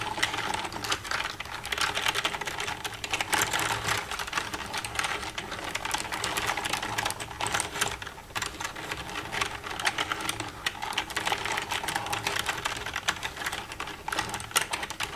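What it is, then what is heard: Plastic computer keyboard. Long red-painted nails tap and type with both hands across the keys of a black plastic desktop computer keyboard with a hollow casing. The result is a steady 15-second stream of rapid, bright plastic clicks and clacks, each dying away almost instantly, with a little low background hum beneath.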